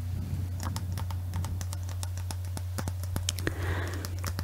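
A clear hollow glass Christmas bauble with an Eiffel Tower inside, held in both hands, is tapped rapidly with long fingernails. The result is a quick run of light, dry, bright clicks with almost no ring, over a steady low hum.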